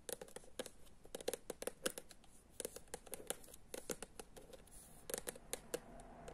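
Long acrylic nails tap and scratch the illustrated glossy cover of a medium, solid paperback book ("Pradevojčica") held upright. The result is a quiet, rapid run of crisp, bright clicks with a dull tone around 500 Hz. Each tap dies away almost instantly, and soft scratching fills the gaps between them.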